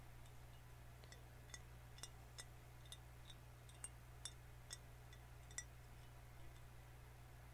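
A full green glass soda bottle is held in the hands while fingernails tap and scratch across its glass and label. The result is a series of quiet, sharp, bright clinks and ticks with a very short ring, spread irregularly over a steady low hum.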